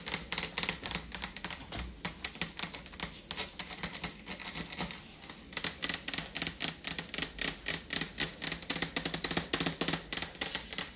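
Long fingernails tap rapidly on a refrigerator door for ASMR, making a fast stream of short, bright, clicky taps with almost no ring. The tapping comes in quick bursts, easing briefly around the middle before picking back up. Little low-end body comes through; the sound sits mostly in the high range.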